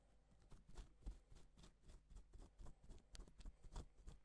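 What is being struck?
Plastic sequin fabric.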